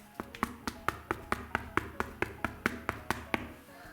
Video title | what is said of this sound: Mischbrot im Ofenmeister von Pampered Chef | woran erkennt ihr, dass das Brot durch ist? Am Klopftest.